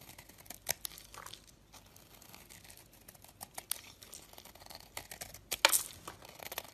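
A metal utility blade carves flaky, crumbly layers from a solid, round, dry and powdery white chalky soap bar held in the fingers. The scraping and cutting make quiet, bright, dry crinkling and crunching scratches with sharp short bursts. The loudest scrape comes near the end.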